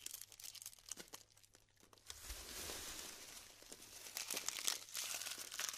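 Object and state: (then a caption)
Glued styrofoam bead clusters. Long-nailed fingertips press and crumble glued clusters of polystyrene beads, making dense, bright crinkling and crackling with quick snaps and pops. A quieter stretch of sparse ticks in the first two seconds gives way to a continuous crunchy rustle that swells again near the end.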